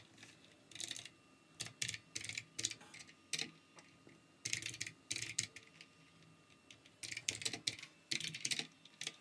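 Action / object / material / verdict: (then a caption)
tap / plastic mechanical keyboard / plastic / none. Fingertips of both hands type continuously on a full-size plastic mechanical keyboard with RGB backlight. Quick runs of bright, clacky keystrokes come in bursts separated by short pauses. Each click dies away almost instantly, with little low end and a quiet overall level.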